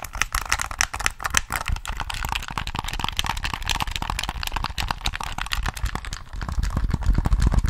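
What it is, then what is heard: Plastic game controller tapped. A hollow black plastic Sony PS3 controller is held in both hands while fingertips tap its face, triggers and buttons. The result is a quick, uneven stream of short, dry plastic clicks and taps over a low thumpy body, with no ring after each tap. The tapping grows louder and denser toward the end.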